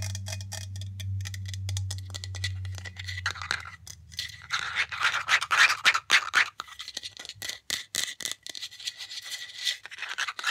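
Long nails tap and scratch a Batiste dry shampoo aerosol can, a hollow aluminum can with a white plastic cap, working over both the metal body and the cap. A low hum fills the first few seconds, then gives way to rapid, uneven clicking taps and bright, hissy scratching with a metallic ring around 2 kHz.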